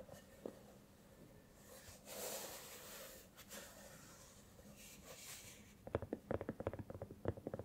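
Long nails scratch softly across a hollow, soft silicone cat-shaped night lamp glowing purple, blue and cyan, making quiet, breathy swishes. The scratching then gives way to a quick, uneven run of dull, muted taps on the lamp's surface.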